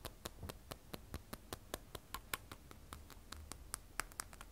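An iPhone 12 Pro, held upright, has its frosted glass back tapped with long acrylic nails. About 24 quick, dry, clicky taps come in an uneven rhythm, each dying away almost at once. They are quiet and sharp, with a faint low rumble underneath.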